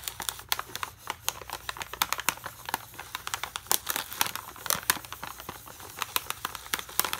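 A full plastic foil bag of Aloo Bhujia, held in one hand, is scratched and tapped with a metal pen tip. Rapid, bright crinkling clicks and scratchy rustles follow one another with almost no ring, sitting mostly in the high frequencies.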